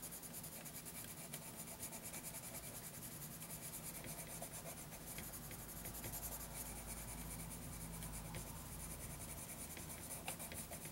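A graphite pencil rubs across a lined paper notebook page in short shading strokes while drawing an elephant. A quiet, steady, dry scratching rasp runs throughout, with a bright papery hiss over a faint low hum.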